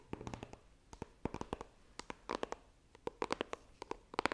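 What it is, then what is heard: Cardboard box tapped with nails. Long nails tap and scratch the printed lid of a small, hollow white iPhone retail box made of coated cardboard, held horizontally. About two dozen quick, dry taps come in irregular bursts, each a short hollow knock with a bright clicky edge that dies away almost at once. Soft scratchy rasps fill the gaps between the taps.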